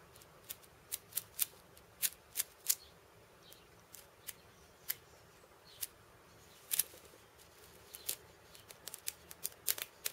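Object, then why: Cabasa with steel bead chains. Fingertips and purple-painted nails scratch and tap across the steel ball chains wrapped around the hollow wooden cylinder of a steel bead cabasa. Around twenty quick, separate bursts of bright metallic rattle and clicks sound over a faint hiss, with almost no low end. Each one dies away almost instantly, leaving a soft, crisp texture.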